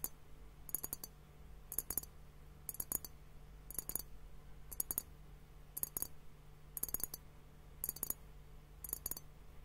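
A clear glass hourglass liquid timer filled with pink liquid and foam is tapped with fingertips and nails on both bulbs. Nine evenly spaced bursts of quick, bright glassy clicks stand out over a steady low hum, each tap dying away almost instantly.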